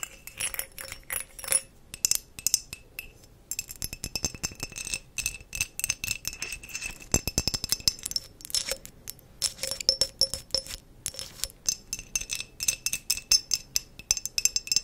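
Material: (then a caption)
Glass. A small, clear, empty glass mason jar is held in both hands while long green-painted acrylic nails tap and scratch its sides, and metal rings on the fingers may clink against the glass. Many quick, bright clicks and clinks come in irregular bursts, with short high ringing tones and scratchy passages between them.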